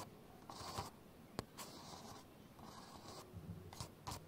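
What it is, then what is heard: Plastic camcorder lens hood being scratched. Fingernails scratch and rub the lens hood and top of a black plastic camcorder front, making soft, bright scraping passes in several separate bursts. A sharp click cuts in near the middle, and two short, brighter scrapes come near the end, all at a quiet level.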